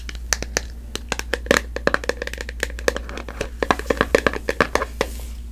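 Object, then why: Small plastic jar. Long manicured nails tap and scratch a small, hollow clear plastic jar with a barcode label, held in both hands. A quick, irregular string of sharp, clicky taps, each with a short hollow ring, sits over light scratching and a steady low hum.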